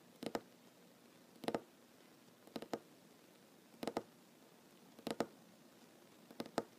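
Short nails on one hand tap a large, solid wooden tabletop, making six quick double-tap bursts spaced about a second apart against a quiet background. Each tap is a dry, hollow-sounding knock centered around 465 Hz with a brief bright click on top, and it dies away almost instantly.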